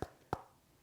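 Two dull knocks on a solid cork yoga block, about 0.3 seconds apart. Each is a short, muted thud with a low tone near 750 Hz and almost no ring.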